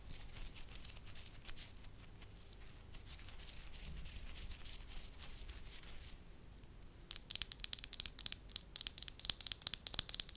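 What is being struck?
Small wax ball.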